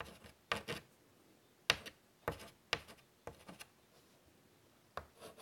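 A hand draws with chalk on a large, flat black chalkboard in a light wood frame lying on a table, scratching the chalk across the board surface. About eight short, dry, bright scratching strokes are heard, separated by quiet pauses and with almost no ring or low end.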